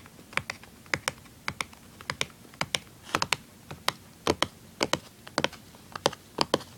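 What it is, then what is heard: Cardboard product box. Fingers tap and scratch the surface of a small, hollow printed cardboard tuner package, producing about 25 short, dry, bright taps in an irregular rhythm. Each tap is crisp and stops at once with no ring, and faint scratching fills the gaps between them.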